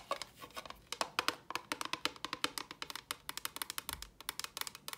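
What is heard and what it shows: Long fingernails tap a small, hollow, empty box of clear rigid plastic in a fast, uneven run of about 34 taps. Each tap is a short, dry, bright click centred near 1 kHz, with almost no low end. The sound dies away almost instantly.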